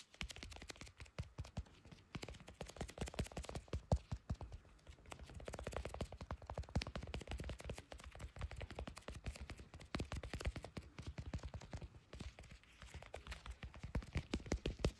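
Leather-gloved fingers tap quickly on the back of a small, solid handheld smartphone in a clear plastic case, which is also the recording device. The result is a dense, continuous stream of short, dull, low thuds with almost no ring, coming in bursts separated by brief lulls.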